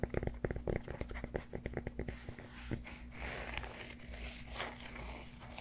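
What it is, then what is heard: Cork yoga block. Fingertips and nails tap and scratch the flat face of a solid cork yoga block held upright. A quick run of dry, dull taps in the first two seconds gives way to softer, continuous scratching and rustling over a faint steady low hum.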